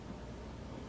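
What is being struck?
Nothing is struck.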